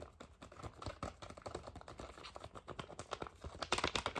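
A thin, flexible, flat red foil and plastic sheet-mask sachet is tapped rapidly with the fingernails in a typing-like rhythm. The result is a quick, steady stream of crisp, clicky, papery taps that sound much like fast keyboard typing. The taps grow brighter and louder near the end.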